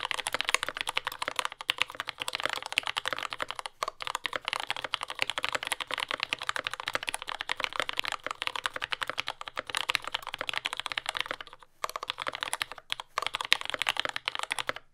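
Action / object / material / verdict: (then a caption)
tap / mechanical keyboard with plastic keycaps / plastic / none. A compact J-01 mechanical keyboard with lubed Yellow Gateron Ink switches, dark brown plastic keycaps and a carbon fiber plate sits on a desk mat and is typed on continuously with the fingertips of both hands. It gives a fast, dense stream of short, bright clacks with almost no low end and no ring. There is a brief pause near the twelve-second mark before the typing resumes.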